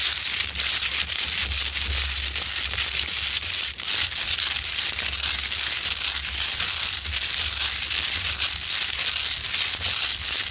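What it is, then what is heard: Himalayan salt lamp being scratched. Long acrylic nails claw and scratch the rough surface of a large, solid rock-salt Himalayan salt lamp, heard close up. The result is a dense, continuous, bright crunching and crackling scrape that stays at a steady level throughout.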